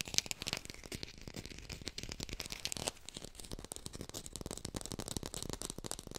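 A small artificial lemon, probably plastic or foam, is held in both hands and fast-tapped with long pink nails. The result is a steady run of dense, crisp clicks that are bright and dry, each dying away almost instantly, with a light crinkly rustle between taps.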